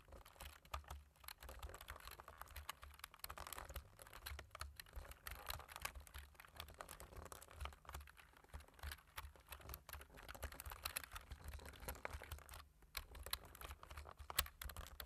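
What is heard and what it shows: Two hands type rapidly with short-nailed fingertips on a black-keyed computer keyboard with a white/silver plastic frame and a hollow plastic body. A dense, continuous stream of quick, dry plastic key taps and clicks runs throughout, each click dying away almost instantly, over a steady low hum.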